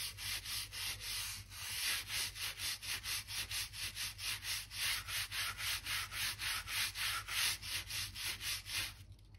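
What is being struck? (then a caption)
Oak floorboards scrubbed with a stiff brush. A narrow crevice brush scrubs the gap along a wide oak floor plank beside the skirting. Rapid, fairly steady back-and-forth strokes make a bright, scratchy rubbing hiss with very little low end. The strokes stop near the end, leaving a quiet fade.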